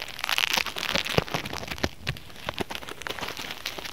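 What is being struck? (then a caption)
Polyethylene foam mesh fruit sleeve. Fingertips and short nails scratch and rub a white expanded polyethylene foam mesh sleeve, a soft, hollow-meshed pear wrap lying flat on a cutting mat. The result is a dense, bright, rain-like crackle, punctuated by sharp, dry snaps that die away almost instantly.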